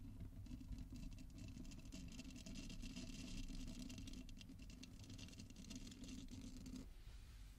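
Long nails scratch the bristles and tap the nubbed back of a small purple silicone body scrubber held in front of the mic. The result is a dense, bright, crackly scratching over a steady low hum, continuing until it stops near the end.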